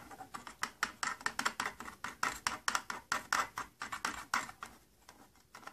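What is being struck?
Thin plastic case panel.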